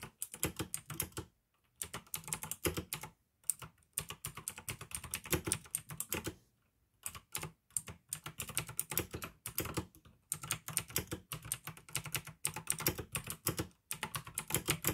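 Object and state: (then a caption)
Plastic mechanical keyboard with clicky switches. Both hands' fingertips type rapidly on the keycaps of a pink AUKEY plastic mechanical gaming keyboard with blue switches. The result is bursts of sharp, bright clicky keystrokes with a low thock underneath, separated by brief silent pauses.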